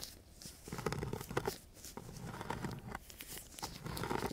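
A thin wooden craft stick is rubbed and scratched across a coarse, gritty sheet of sandpaper lying flat. The clip is a series of rough, rasping scratch strokes with a dull low body and bright gritty hiss. The strokes come in uneven bursts with brief quieter gaps between them.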